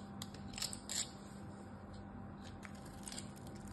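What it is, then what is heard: Glycerin soap bar being cut. A solid pink glycerin soap bar held in the hand is grid-cut and scraped with a metal knife. Crisp, bright crackling scrapes and clicks stand out over a low steady hum, with the strongest cuts early on and softer scraping following.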